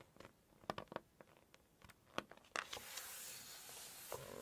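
Long nails scratch and tap on the glossy photo pages of an open Chinese cookbook, making a series of quiet, sharp clicks and scrapes. After a couple of seconds, a page is lifted to turn it, producing a steady, bright papery rustle with one more tap near the end.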